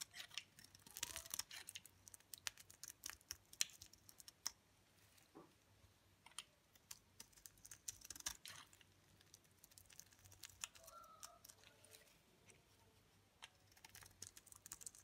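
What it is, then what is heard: Dry bar soap being scraped. A utility knife blade scrapes flakes off the face and edge of a solid, dry olive green bar of soap held in the hand. The result is a quiet run of crisp, bright scratching and clicking bursts with almost no low end, each stopping dead with no ring.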